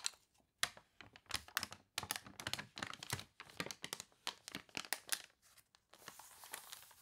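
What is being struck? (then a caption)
Glossy paper catalog. The water-wavy pages of a glossy paper toy catalog are flipped and crinkled by hand while long nails tap and scratch the paper surface. Quick, bright crackles and sharp taps come in irregular bursts with brief pauses between them. The clip ends in a steadier, hissy scratching rustle.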